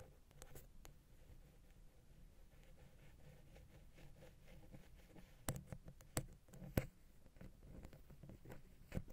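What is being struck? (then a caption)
Metal microphone capsule housing. A wooden ear pick, held at an angle, scratches along the small hollow silver metal XY microphone capsule housing of a Zoom H6. It makes a steady, quiet, low rumbling scrape. Sharper, brighter ticks and clicks break through in the second half.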